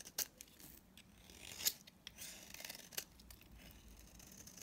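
A utility knife blade scrapes across a dry, palm-sized solid blue bar of soap held in the hand, chipping off brittle pieces. Quiet, bright, papery scraping is broken by a few sharp crisp snaps as flakes break away, with almost no low end.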